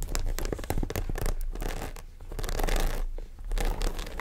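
Long nails scratch and tap along the top and sides of a small black croc-embossed faux leather shoulder bag with metal zipper hardware. The result is a steady, close, scratchy rustle with soft low thumps and brief bright ticks, swelling and dipping slightly throughout.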